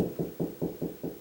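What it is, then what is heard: Hollow drywall ceiling between joists. A drywall ceiling is knocked along, past the 16-inch joist spacing, producing seven dull, low thuds in quick succession with a short, muffled ring and no bright high end. This spot sounds hollow, meaning it lies between joists.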